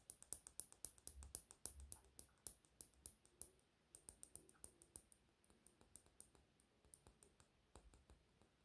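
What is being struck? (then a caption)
Small plastic lip gloss cap. A small, hollow pink plastic cap on a lip gloss tube is held in the fingers and tapped and clicked with short fingernails. Around forty quick, dry ticks come in a fast, uneven stream, each with a sharp high click and almost no ring. The taps are louder and bunched at first, then softer and more scattered toward the end.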